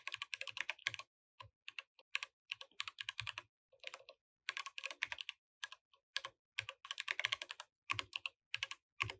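A compact mechanical keyboard with plastic keycaps is typed with the fingertips of both hands while the mouse stays idle. Bright, clicky keystrokes come in quick bursts separated by brief pauses, each click dying away almost instantly with very little low end.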